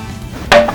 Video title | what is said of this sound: [FULL] - SI UNYIL (18/11/21) | soal kekuatan boleh diadu dijatuhin aja masih tetap utuh